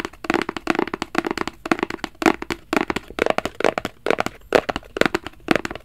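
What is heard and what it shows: A small, hollow black rigid cardboard Versace gift box, held flat in both hands, is scratched and tapped with fingertips and nails. The result is a quick, irregular run of dry, hollow clicks and short scratches, each dying away almost instantly. The sound sits mostly in the low-mid to mid range, with little bass.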